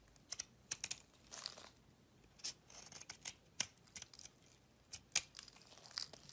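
A solid cream-coloured bar of soap with a pink rim, held in the palm, is carved with a metal utility knife blade. Quiet, bright, crisp snaps and short clicks are broken up by a few longer scraping shaves, all dry and high-pitched with almost no low end and no ring after each cut.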